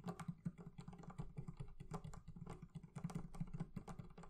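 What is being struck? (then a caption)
Leather covering of a wooden barrel chest. The leather covering of a barrel chest is tapped with quick, soft strokes, producing a rapid, uneven series of dull, low thuds centered around 170 Hz. Each tap dies away almost instantly, with very little brightness or ring.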